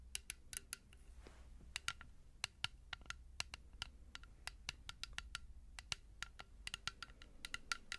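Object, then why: Small plastic bottle. A small, blue-tinted plastic bottle, partly filled with liquid, is tapped with long nails in a quick, irregular run of sharp, dry clicks. Each tap is bright with a faint ringing tone around 1.4 kHz and dies away almost at once, over a low steady hum.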